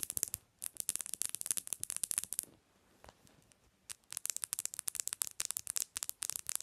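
Long nails tap rapidly on the glass screen and edges of a bare black Samsung phone resting on a pillow. The taps are sharp, bright clicks with almost no low end, coming in quick bursts. They pause briefly in the middle with only faint soft scratching before the fast tapping resumes.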